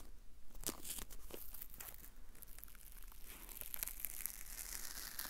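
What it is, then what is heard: Paper masking tape being crinkled and peeled. A white strip of thin, flexible paper masking tape is held in both hands away from the microphone and folded and crinkled with fingertips and short nails. The result is soft, continuous crinkling and light peeling, with bright, papery crackles over a low background hum.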